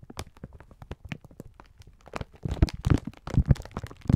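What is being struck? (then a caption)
Sponge scourers in thin plastic film. Both bare hands hold a palm-sized, soft, full multi-pack of green-striped 3M sponge scourers sealed in thin clear plastic film, with fingertips squeezing and rubbing the crinkly wrapper. Quick, dry crinkles and taps start quietly, then give way to louder, denser squeezing crackles in the second half, heavy in low thumping tones. Each sound stops almost instantly with no ring.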